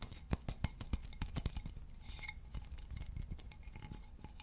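Fingertips and nails tap and scratch the surface of a solid, polished, leaf-shaped wooden board about 30 cm long with a round hole in its center. A quick run of dry, clicky taps with a low, hollow thump comes first, then softer, denser scratching and light tapping. Each hit dies away almost instantly, and the whole clip stays quiet.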